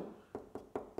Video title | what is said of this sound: What are house walls actually made of? | got a solid bit so this is absolutely Dot and dab